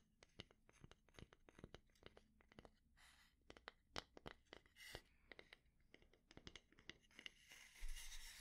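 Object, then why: Wooden spatula. A solid, light wooden spatula is held in the hand while a fingernail taps and scratches on its head. The clip is quiet, with dense, irregular sharp clicks spread across the whole clip. Softer scratchy passes come near the middle, and a brighter rasping scrape ends the clip.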